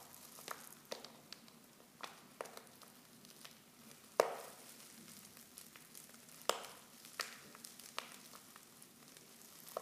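Fingers with long nails crinkle a silver foil Pickwick tea pouch, half full of loose tea leaves and open at the top. Soft, irregular crackles and rustles are heard, with a few sharper, brighter crinkles standing out over a quiet background.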